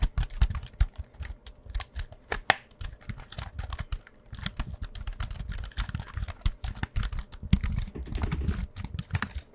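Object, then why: Wireless keyboard with aluminium frame and plastic keys. A slim white wireless keyboard with a silver aluminium frame and plastic keys, solid and thin, is held upright in both hands and typed and tapped rapidly with the fingertips. The result is a dense, continuous patter of short, dry clicks and soft thuds with a low, muffled body and brief bright ticks that stop instantly.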